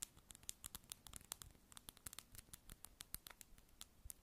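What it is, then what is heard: Plastic lip balm container. Long acrylic nails tap and scratch a small, hollow, light-blue round plastic lip balm egg held in both hands. About 26 quick, quiet, bright clicks land at an uneven rhythm, each dying instantly, with a soft scratchy rustle between them.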